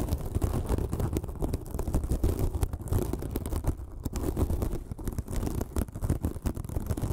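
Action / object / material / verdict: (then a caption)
scrape / porous foam sponge / foam / none. Long fingernails scratch a small white, sparkly, porous foam sponge, producing a continuous run of rapid, dry scratching and crackling strokes. The sound is heavy in low, muffled rumble, with brief brighter flecks and short gaps where the scratching briefly lightens.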